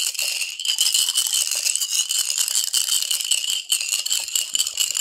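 A clear glass bottle with a gold cap, partly filled with colorful glass marbles and water, is held in one bare hand and shaken and tilted so the marbles knock against the glass walls. The result is a dense, continuous, bright clinking rattle with a ringing tone near 2.9 kHz and almost no low end. The rattle eases briefly around 3.7 seconds before picking up again.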